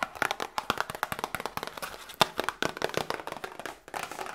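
A small, hollow cardboard Grippostad medicine box is tapped with long nails and fingertips in a quick, irregular run of dry, clicky taps. Each tap is short and papery, with almost no ring and very little low end; the sound centers around 860 Hz with bright edges, and one sharper, louder tap stands out about halfway through.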